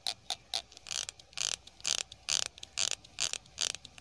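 Fingertips run and flick along the teeth of a small pink plastic hair comb held in one hand. The result is a quick, irregular series of short, dry, bright raspy strums and clicks with almost no low end and no ring after each burst.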